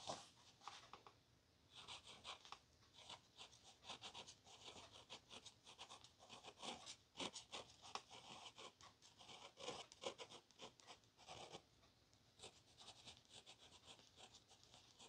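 Quiet, rapid scratching and rustling of a pen tip dragged across a thin paper page.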